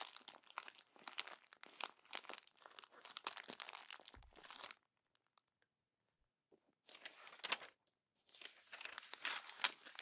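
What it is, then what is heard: Glossy magazine paper being crumpled. A fist crumples the pages of a glossy paper magazine and a hand turns a page, making dense, bright crinkling and crackling for nearly five seconds. After a near-silent pause, a short burst of crinkling follows, then more crumpling continues to the end.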